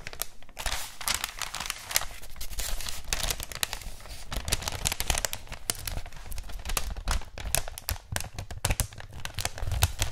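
A thin white wrapping paper sheet with a red floral print is held in both hands and rubbed and crinkled with the fingertips and nails. Dense, continuous bright crinkles and crackles fill the clip over a soft low rumble, with sharper snaps coming through in quick bursts.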